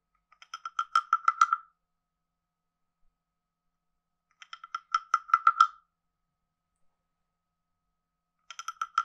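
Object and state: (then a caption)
Wooden frog guiro. A wooden stick taps and scrapes the ridged back of a hand-sized, carved, hollow wooden frog guiro. It makes three runs of quick, woody clicks that grow louder and closer together, each a hollow croak-like rattle centered near 1.35 kHz with bright overtones. The runs are separated by silence, and the last one is cut off at the end.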